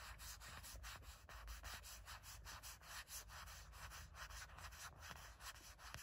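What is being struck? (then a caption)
Silicone phone case. Long natural nails scratch rapidly across the flat back of a gray matte silicone or soft plastic phone case with a heart print, fitted on a phone. Quick, uneven strokes make a dry, bright rasping texture with soft low rumble beneath, keeping a fairly steady quiet level.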